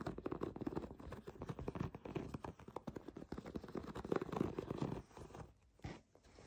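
Long nails scratch and tap rapidly across the nubs of a white, bubble-textured plastic foam bath pillow. The result is a dense, crinkly patter of soft, dull clicks and rubbing, mostly low and muffled with little brightness. It thins out briefly near the end before a few last taps.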